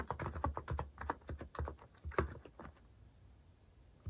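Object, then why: Mechanical keyboard with plastic keycaps. Fingertips type on a compact white-cased Hanmumu mechanical keyboard with cat-themed plastic keycaps. A quick, uneven run of short, dull, low-pitched key clacks dies away fast. The typing stops after about 2.7 seconds, leaving near-silence until one last keystroke at the very end.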